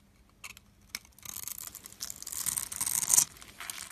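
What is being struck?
Bar of soap.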